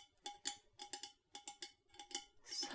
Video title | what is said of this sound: ASMR - ASMR Customer Service Roleplay (Soft Spoken, Typing, Tapping) | higher pitched tones such as this Yeti water bottle that I am tapping on